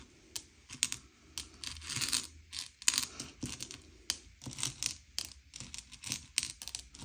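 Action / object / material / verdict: scrape / small sugar-coated chocolate candies on a plate / sugar shell / none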